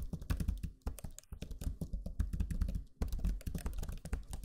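Fingertips type on the low-profile plastic keys of a backlit black Lenovo Legion 5 laptop keyboard, making rapid, soft, dull clicks and thuds. The taps run in quick bursts with short pauses, and each one stops almost at once with little ring.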